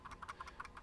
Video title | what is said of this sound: Best Wireless Mouse on a Budget? Logitech M510 Review | this my other Mouse quite a bit louder